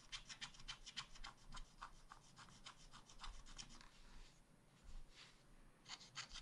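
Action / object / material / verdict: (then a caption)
scrape / wooden stylus on wax-coated scratch paper / waxed paper / none. A wooden stylus rubs and scratches the coating off a black wax-coated scratch art page, working over drawn ice cream scoops. Quick, uneven scraping strokes make a bright, papery rasp with short pauses between bursts.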